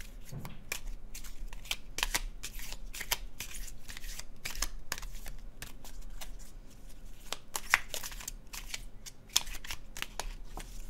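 A deck of laminated cardstock tarot cards with red-orange artwork is held in the hands and overhand shuffled over a blue cloth. The cards slide and rub against each other in a steady run of soft, bright, papery swishes and flicks, with a few sharper snaps standing out near the end.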